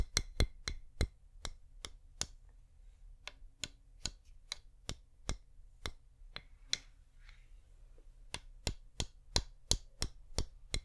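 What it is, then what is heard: Wax pillar candle tapped with nails. Long nails give slow, individual taps on a flameless wax pillar candle: 24 short, bright clicks that die away almost at once. The taps are spaced fairly evenly, with a brief pause in the middle, over a steady low hum.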